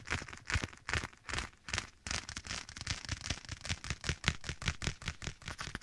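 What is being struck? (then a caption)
Leather glove. Bare fingertips tap and scratch a black leather glove worn on one hand and held close to the right side of the microphone. Quick, fairly steady taps give dull low thumps layered with bright, crackly leather scratching, each dying away almost instantly under a slight echo.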